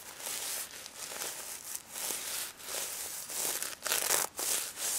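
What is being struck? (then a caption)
Plush toy covered in plastic sequins. A hand rubs and brushes the plastic sequins covering a pink stuffed pig toy with fingers and nails. It makes a bright, crisp, crinkly scratching in uneven bursts separated by brief pauses, almost all high-frequency hiss with no low end.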